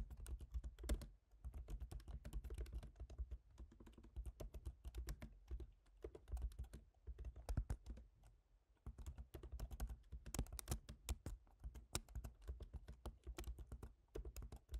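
Fast fingertip typing on a silver MacBook Pro keyboard, an aluminium laptop keyboard with plastic keys, produces a quiet, dense stream of short, dry key taps with bright clicky edges. A steady low hum sits underneath throughout, and the typing briefly pauses near the middle before resuming at the same quick pace.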